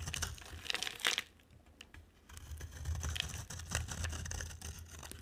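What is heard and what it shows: A box cutter blade scrapes shavings off a dry, solid, palm-sized oval soap bar with an orange rim and a purple core, held in the hand. Crisp, bright scraping and crinkling bursts come in quick runs over a steady low hum, with a quiet pause in the middle before the scraping resumes.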